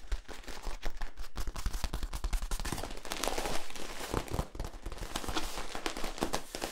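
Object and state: Corrugated plastic tube.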